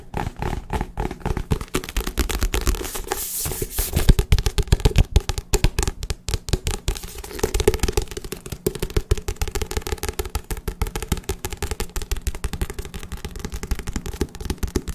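A paperback book with a soft paper cover, held in the hands, is tapped fast with the fingertips on its cover and spine. A rapid, continuous stream of short, dull, low thuds sounds with no ring after each tap, and it keeps an uneven rhythm throughout.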